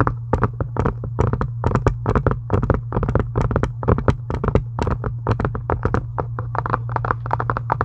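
Long acrylic nails tap and scratch a pink embossed faux leather book cover in a rapid, uneven string of short, dry clicks. A steady low hum runs underneath the whole time.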